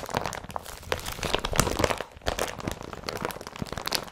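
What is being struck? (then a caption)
Empty woven polypropylene carrier bag. Hands scrunch and crumple an empty blue woven polypropylene IKEA BRATTBY carrier bag. The result is dense, crinkly rustling with sharp, brief crackles and crunches, swelling and easing over about four seconds.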